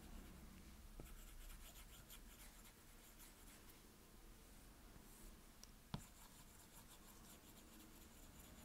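A plastic Apple Pencil tip scribbles back and forth over the glass touchscreen of a solid, flat iPad, making a steady, quiet scratching rub with bright, airy strokes. A low, constant hum sits underneath, and a few sharp tapping clicks stand out, the clearest near the six-second mark.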